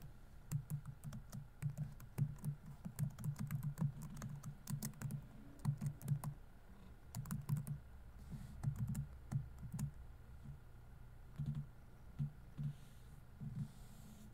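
Fingertips type on a dark laptop keyboard with plastic keys over a hollow body. The result is quiet bursts of soft, dull, low-pitched tapping with brief, bright click edges and short pauses between runs, all over a faint steady tone. The tapping thins out near the end as the hand lifts off.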